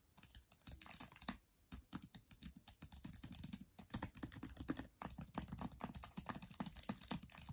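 Fingertips and long nails tap fast on the black plastic keys of an open MacBook Air laptop, as if typing, and briefly touch its aluminum palm rest and trackpad. The result is a quick run of sharp, bright, dry clicks with almost no ring, broken by a short pause near the start and a few brief gaps.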